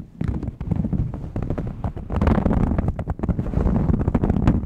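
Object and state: Knit fabric shirt being scratched.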